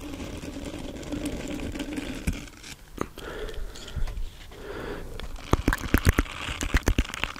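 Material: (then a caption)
Silicone. Fingertips scratch and flick the dense short bristles of a small round green silicone scrubber pad held close to the microphone. A steady, low, rumbling scratch gives way to softer rubbing swishes, then a run of sharp, bright flicking snaps near the end.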